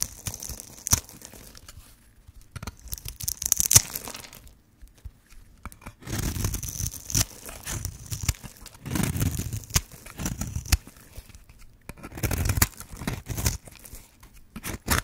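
A metal blade scrapes and cuts a grid into a hand-sized, pink striped solid bar of dry soap held in the hand, and flakes crumble away. Dry, crackly scraping and tearing bursts with bright hiss and low crunchy thuds come in stretches separated by short quiet pauses.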